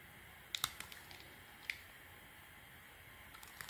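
A metal blade shaves small flakes off the surface of a round, purple, textured solid bar of soap. Quiet, bright, crisp scraping clicks come in short, irregular bursts, each dying away almost instantly, over a soft steady hiss.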